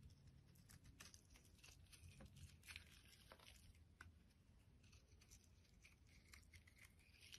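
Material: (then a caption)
Soap. A metal utility blade shaves a solid white bar of soap into brittle flakes. A quiet, steady run of fine scraping and crisp crackling ticks sits over a low, dull rumble. The sharp clicks die away almost instantly.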